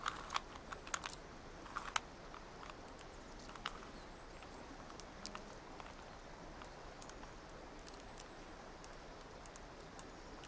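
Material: Plastic.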